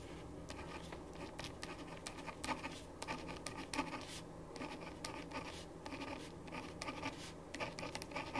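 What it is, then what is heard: Pen writing on paper. A ballpoint pen writes on a thin printed paper sheet lying flat on a wooden desk. Quiet, continuous scratching strokes come as short, bright, dry bursts over a faint steady low hum.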